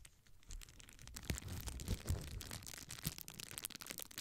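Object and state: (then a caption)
Plastic bubble wrap being crinkled. A small rectangular sheet of clear plastic bubble wrap is held in both hands while fingers and nails pinch and crinkle the air-filled bubbles along its top edge. A steady, bright crinkling and crackling runs throughout, broken by sharper snaps and soft low thumps as the plastic is squeezed.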